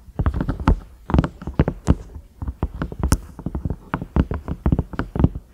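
Long nails tap and scratch the grey-brown round knob and the ridges of a large cream ridged microwave lid, likely silicone, that is thin and hollow underneath. A quick, uneven run of dull, low, hollow taps sounds, each dying away almost at once, with soft scratchy brushes between them.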